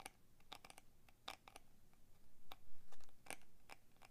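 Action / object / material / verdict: tap / clear plastic blister pack on a cardboard card / plastic / none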